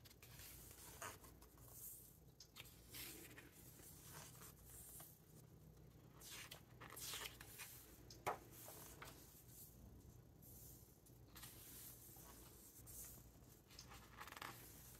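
Fingertips rub and stroke the glossy paper pages of a large open hardcover book, then turn them. The clip is a quiet, continuous stream of soft, bright papery swishes and scrapes, with one sharper crisp rustle near the middle.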